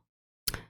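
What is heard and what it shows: A single tap on a refrigerator that sits directly beside a desk in military barracks. After near silence, one sharp, bright tap arrives with a low thud underneath and fades out quickly.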